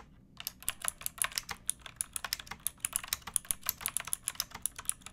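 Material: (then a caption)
Plastic. Fingertips with long painted nails type on a pink backlit plastic mechanical keyboard with round typewriter-style keycaps and a hollow case. After a brief silence, about thirty crisp, bright clacks come in a steady, rapid stream. Each click dies away almost instantly over a quiet background.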